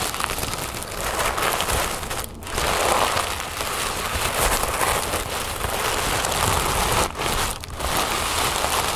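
A large sheet of thin orange tissue paper on a table is crumpled and scratched by both hands with long nails. The result is a steady, dense crinkling and crackling that fills a broad range from low rustle to bright hiss. It drops briefly into short quieter gaps near 2.3, 7.1 and 7.6 seconds before resuming.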